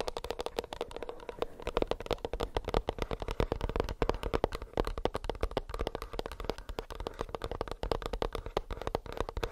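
Fingernails tap quickly and continuously on a plastic earbuds case for about ten seconds. The dense stream of short, dry clicks has a faint mid-pitched tone and a soft low thump beneath it. There is no ringing between taps.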